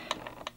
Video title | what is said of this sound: XRAY Tech Tips - Setting Gear Mesh on XB8 | there's some knock there hear that knock it's a lot quieter now